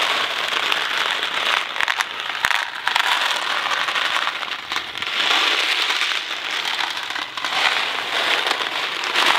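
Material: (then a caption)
Cardboard. A small Kraft macaroni and cheese cardboard box filled with dry pasta is held in one hand, turned and shaken. The pasta makes a steady, bright rattling hiss, rising and falling in waves with a few sharper clicks and almost no low end.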